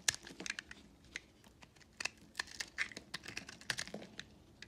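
A box-cutter blade with a red handle scrapes and shaves flakes off the surface of a hand-held, hand-sized solid purple mottled recycled soap bar. It makes a quick run of dry, crisp, high scraping ticks and crackles with almost no low end, each stroke cutting off instantly.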